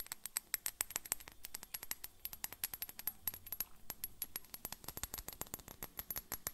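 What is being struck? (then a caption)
Clear bottle with cap. A tall, clear bottle with a white cap, which looks like glass but could be plastic, is held upright and tapped and scratched near the cap and neck with long fingernails. A quick, uneven series of sharp, dry clicks and taps follows, with a faint high, bright ring over soft scratching. Each tap dies away almost instantly.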